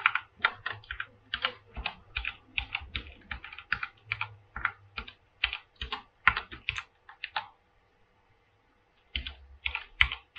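Both hands type with their fingertips on a full-size mechanical keyboard with a silver aluminum frame and white and blue PBT plastic keycaps, resting on a pink surface. Quick, bright clacking keystrokes come in fast bursts, with short, dry decays and a pause of about a second and a half near the end before the typing resumes.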